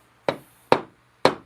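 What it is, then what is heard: Fully seated wooden spline. A walnut spline is hammered into the slot across a mitered 45-degree corner of a wooden box. Three sharp, solid taps with a short midrange knock and quick decay are heard. The tapping sounds more solid, showing the spline is fully seated.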